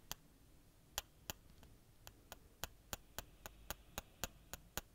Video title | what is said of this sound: [ASMR] Christmas Triggers and Whispering | Sounds like wooden blocks tapping against each other